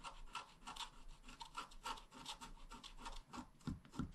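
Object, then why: Wax-coated scratch-art card scratched with a wooden stylus. A wooden stylus tip scratches across a flat, black wax-coated scratch-art card about A5 size, a solid thin card lying on a table. Quick, uneven strokes make dry, raspy scratching with a bright, papery edge. A few heavier, lower-pitched scrapes come near the end.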